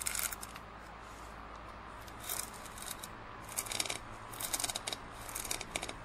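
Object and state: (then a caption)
Plastic drinking cup scratched with nails. Fingernails scratch a large, hollow, empty printed plastic drinking cup, which is then tilted and held by the rim. Bright, crisp scratching bursts come in short clusters separated by quieter gaps, over a faint steady low hum.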